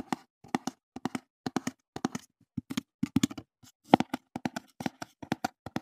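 Fingertips tap and handle a small, empty, open-top brown corrugated cardboard box held in the hands beside the microphone. Quick clusters of dry, hollow taps centered around 280 Hz come in twos and threes with brief pauses, each dying away almost at once. The bursts form an irregular, soft drumming rhythm.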